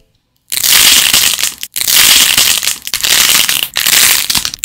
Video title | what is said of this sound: 두더지게임 만드는법 #점토부수기 #claycracking #stressrelief #satisfying #クレイクラッキング | esmalte de uñas para crear el sonido crujiente de la arcilla al romperse